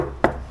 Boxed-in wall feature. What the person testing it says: I'm convinced that it's just the seating for that because it sounds hollow